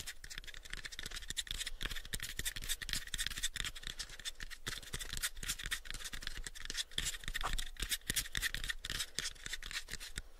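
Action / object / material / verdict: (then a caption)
scrape / small unfinished wooden box / wood / none. A small, hollow, pale unfinished wooden box is held in both hands while fingernails scratch and fingertips tap across its surface. The result is a steady stream of quick, dry taps layered over bright, rasping scratches, with short hollow knocks that die away quickly.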